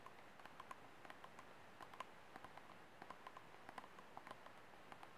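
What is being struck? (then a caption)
Empty disposable plastic cup. Short nails tap and scratch across the ribbed side wall of an empty, hollow, disposable white plastic cup held sideways. About 18 light, separate clicks with a faint ring near 1 kHz sit over a soft, low scratchy hiss. The overall level is quiet.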